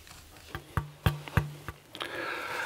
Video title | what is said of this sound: Wie man eine Geige baut - SWR Handwerkskunst | At the beginning a lot of mass, high, bright tone. As I elaborate, the tone gets darker.